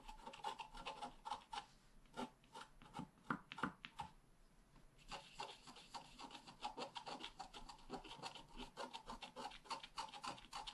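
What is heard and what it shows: A wooden stylus tip scratches a flat, black wax-coated scratch-art page, a solid thin card about A5 size, lying on a table. Quick, dry rasping strokes repeat throughout, with a mid tone near 1 kHz and bright, high scratchy detail. A short quieter pause with a few isolated strokes comes near the middle, before dense scratching resumes.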